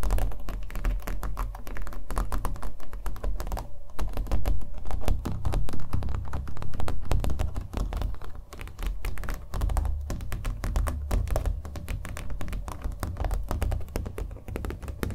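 Fingernails tap quickly on the face and edge of a small acrylic-painted stretched canvas held in the hand. The result is a dense, irregular run of soft, dull taps with a hollow, low thump and almost no ring after each hit.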